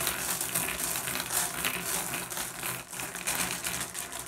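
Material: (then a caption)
Glass. Fingertips rake and shuffle a pile of small, solid, blue iridescent flat glass gems on a wooden surface. The result is a steady, bright stream of overlapping clicks and clinks with irregular timing, briefly thinning near the three-second mark before picking up again.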